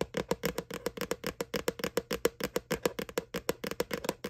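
Fingertips and nails tap rapidly on the flat round bottom of a small, hollow white plastic McDonald's Boo Bucket Halloween candy bucket held up in the air. The result is about 31 quick, uneven hollow taps with a clicky edge and a short tone near 470 Hz that dies away almost instantly.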